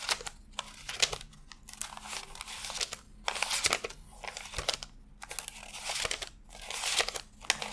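Fingertips peel and flick thin cotton-paper $100 bills one at a time from a fanned stack while counting. Quick, bright, crisp paper snaps and crinkles come in bursts with short quiet gaps between them, each flick dying away almost instantly.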